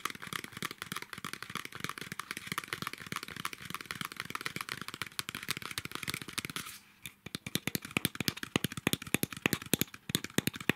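Long nails tap and scratch a small, apparently full plastic milk drink bottle with a blue cap and plastic label. A dense run of quick, dry clicks and scratchy rustling carries bright, crisp highs, then briefly quiets around the seven-second mark. It resumes as sparser, sharper, louder taps.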